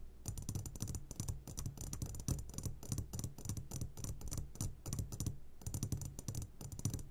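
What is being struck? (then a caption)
Glass jar full of gummy candies. A medium glass jar, turned upside down and full of sugared gummy candies, is tapped on its sides with short fingertips of both hands. Quick, irregular taps come in dense bursts with short pauses, each a soft clicky knock with a low hollow thump underneath and a bright glassy tick on top that dies away almost at once.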